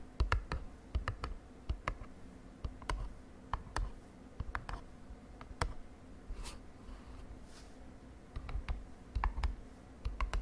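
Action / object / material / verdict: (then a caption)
tap / small printed cardboard box / cardboard / none. Long dark nails tap a small printed, glossy cardboard cosmetic box lying on a bed sheet. An irregular series of short, dry clicking taps comes in quick clusters and single strokes, each crisp and bright but dying away almost at once. A low, steady hum sits underneath.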